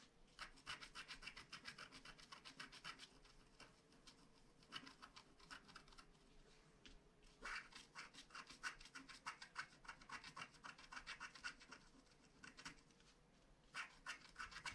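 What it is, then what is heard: Scratch-art card being scratched. A wooden stylus scratches dense strokes into the black coating of a flat paper scratch-art card, working on a castle picture. Quiet, bright, rapid scratching and rasping comes in quick bursts of strokes, with a few short pauses between them.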